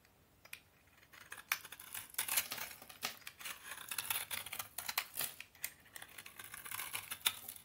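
A snap-off utility knife blade shaves and scrapes the surface of a solid rectangular bar of dry, crumbly orange vintage Soviet toilet soap held in one hand, cutting it into crunchy flakes. The result is a quiet run of bright, crisp scraping strokes and short crackling bursts with almost no low end.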